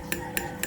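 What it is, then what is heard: Solid thick iron handlebar. Three taps on the iron handlebar of a ROYAL RY 9380 children's bicycle during assembly give short, solid metallic knocks with a brief ring around 355 Hz. The handlebar wall is thick iron, about 1 mm, and it sounds solid.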